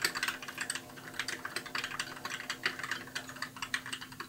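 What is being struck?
Plastic mechanical keyboard.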